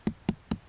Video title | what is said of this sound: Foraging for Puffball Mushrooms with Chef Shawn Adler | it'll give you a nice thud. Kinda sounds like a basketball. It's still dense, it hasn't gone to spores.